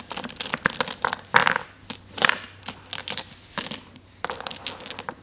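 Many small, solid, flat glass gems spread on a table are swept and rubbed around under a flat palm and fingers. The result is irregular bursts of bright, dense clicking and clattering as the gems jostle against each other and the table. Each burst dies quickly, with brief quiet gaps between the sweeps.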